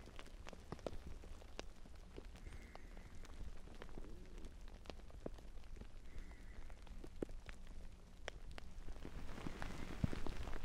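Fingertips scratch the fabric surface of a large, soft, filled navy blue fabric pillow held upright in front of a binaural mic, moving toward its top edge by the end. The result is a steady, low, muffled rustle dotted with many quick, dry scratch clicks, growing slightly louder and brighter near the end.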